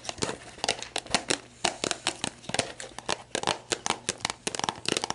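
Long black nails press, scratch and tap a clear, labeled plastic sports drink bottle that lies on its side, hollow and mostly empty. The thin plastic crinkles and gives a quick, uneven run of about 25 sharp, bright clicks and scrapes. Each dies away almost at once, with little low end.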